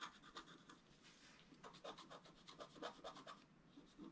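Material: Coated paper.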